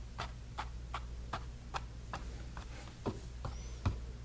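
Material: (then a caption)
Canvas. A bristle brush stipples paint onto a small painted canvas panel with about ten soft, dry taps at a slow, uneven pace. Each short tap gives a brief papery tick, over a steady low hum underneath.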